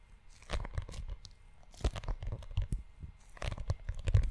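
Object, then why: Leather-covered notebook. Fingertips of both hands rub and scratch the brown leather cover and spine of a closed leather-bound notebook. The result is a close, low, dry crunching and scuffing texture in irregular bursts with brief scratchy transients.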